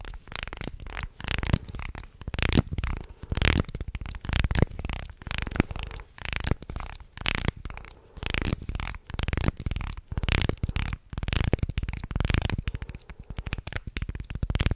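A small carved light-wood guiro shaped like a shark, with ridged grooves along its body, is held in both hands close to the mic while a thin wooden stick scrapes across the ridges. Rapid rasping, ratcheting strokes come in bursts with short pauses between them, and the sound is heavy in low rumbling tones with little brightness.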